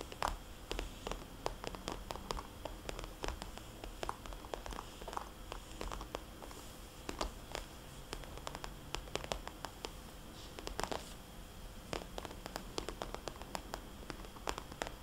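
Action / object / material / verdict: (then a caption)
tap / glossy plastic cosmetics bag / plastic / none. Long painted fingernails rapidly tap a small, red, glossy plastic cosmetics bag with white polka dots lying flat, using both hands and sometimes gripping its edges. Quick, sharp, bright clicks patter in uneven bursts, with soft crinkling between them over a low, steady background hum.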